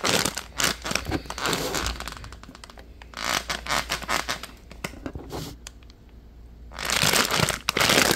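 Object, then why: Plastic packaging pouch. Fingers squeeze and crinkle a hand-sized purple printed plastic pouch with white edges, producing bright, dense crackling. The crinkling comes in loud bursts at the start, around the middle and at the end, with quieter, sparser crackles and soft ticks in between.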